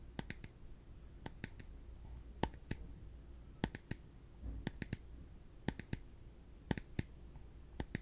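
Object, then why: Small thin plastic cup. A small, translucent, empty plastic cup is held in one hand and tapped with the fingertips of the other. Short, sharp, bright clicks land in loose clusters of two or three, each dying away almost instantly, over a quiet, steady low hum.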